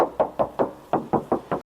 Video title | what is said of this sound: PILIHA CALYA 2021 ATAU SIGRA 2021, KALIAN BEBAS MAU PILIH YANG MANA ❤️ | Aku bakal tes ketuk juga. Tuh masih kedengaran banget kalengnya.